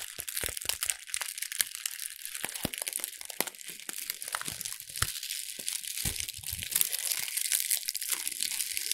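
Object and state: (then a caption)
Thin wrapping paper being crumpled. A small sheet of thin brown wrapping paper is held in both hands and crumpled and rubbed with fingertips and long red nails. Dense, bright crinkling and sharp crunchy crackles run throughout, with many quick dry snaps that stop instantly and little low end.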